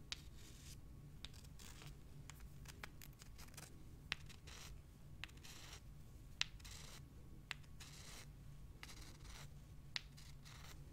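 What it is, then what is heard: Limestone rocks scratched and rubbed. Long dark nails scratch the rough surfaces of two small, pale, solid limestone rocks, and the rocks are rubbed against each other. Dry, gritty scratching and rasping strokes come in irregular bursts, with occasional sharp, bright clicks standing out above a steady low hum.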